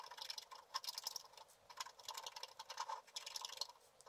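A wooden stylus scratches a black-coated scratch art card lying flat. Quiet, dry, bright scraping strokes come in quick, uneven bursts, with no low end.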